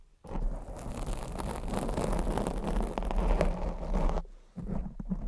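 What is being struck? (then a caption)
Foam microphone windscreen. Long blue acrylic nails lightly scratch and tap the sides of a black foam microphone windscreen. The result is a dense, muffled, low-heavy rustling and scraping that runs for about four seconds, stops briefly, then resumes.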